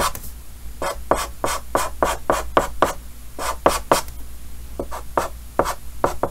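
Yellow chalk held in the fingers writes and scratches lines across a large, solid, flat painted chalkboard with a green frame. The clip is a series of short, dry scratchy strokes with a bright edge, coming in quick, uneven bursts over a low steady hum.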